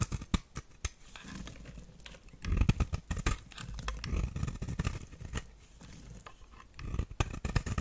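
A knife blade scrapes across the face of a solid, dry, orange square bar of soap held in hand, shaving off flakes. Repeated short, crisp scraping and crinkling strokes come in quick bursts with a dull, low-heavy body and faint bright edges, each stroke stopping almost instantly.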